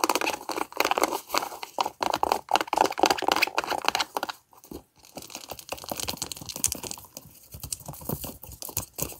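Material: Leather.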